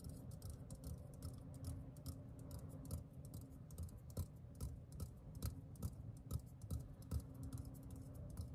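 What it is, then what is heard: Metal aerosol can. A green, hollow metal aerosol deodorant can is held in the hand while fingertips tap its bottom and side. The result is a quiet, irregular stream of quick, soft taps, with dull low thuds and bright clicky edges that die away almost at once, over a faint steady hum.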